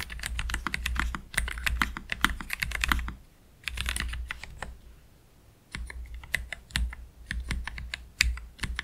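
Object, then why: Low-profile mechanical keyboard, plastic keycaps. Fingertips of both hands slowly press the keys of a black Keychron K3 Pro low-profile mechanical keyboard with Gateron Red low-profile switches and plastic keycaps, resting on a desk mat. The result is bright, short, clicky key taps in uneven bursts with two brief pauses, over a steady low hum.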